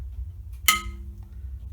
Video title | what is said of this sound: Devongunsmith Diaries #6 Gallyon Side By side 12 Bore rib re-solder | you can hear that very dull ring it should ring like a bell